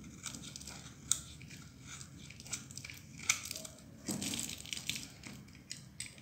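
A solid, dry blue bar of soap held in the hand is sliced and shaved with a metal utility knife blade. The sound is a run of soft, crisp scraping and crunching cuts with bright, high shavings. A few sharper clicks stand out near 1.1 and 3.3 seconds, and a longer, fuller scrape comes around 4 seconds.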